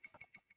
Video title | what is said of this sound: Episode 6: Freakz in the Sheetz - Guest R.J. Umberger | It's just one stone. It's not really that satisfying.